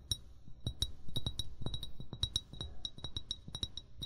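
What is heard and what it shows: An upright, hollow amber (brown) glass bottle is tapped with the short fingernails and fingertips of both hands in an irregular rhythm of about twenty quick taps. Each tap gives a soft low knock with a brief bright clink near 3.8 kHz that dies away almost at once.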